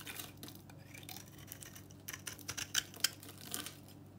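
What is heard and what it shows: An old, very dry pink bar of soap painted copper is held in the hand and cut and scraped with a utility knife. The result is a steady, bright, crumbly scratching, with several sharp, dry snaps standing out in the second half as the blade bites through the powdery soap.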